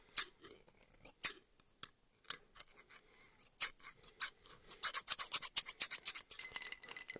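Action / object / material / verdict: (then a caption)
scrape / steel hair-cutting shears / steel / none. A small, solid pair of steel barber shears is held in one hand and opened and closed so the blades slide and rub against each other. Quiet, bright metallic snips and scrapes come in an uneven series, sparse at first and then quicker and denser toward the end.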